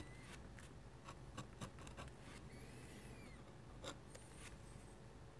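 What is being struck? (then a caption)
Drawing paper under a metal dip-pen nib. A metal-nib dip pen scratches hatching lines across a flat white sheet of drawing paper. The quiet clip holds a series of short, dry, scratchy strokes, some with thin, high squeaking tones as the nib glides over the paper.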